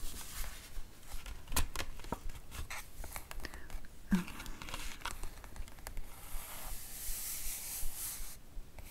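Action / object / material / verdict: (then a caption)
scrape / comic book page, glossy printed paper / paper / none. Long acrylic nails and fingertips trace and scratch across the right-hand page of an open hardcover comic book with printed glossy paper pages. The result is a steady, dry papery scraping broken by sharp nail clicks, with a brighter, hissing sweep near the end.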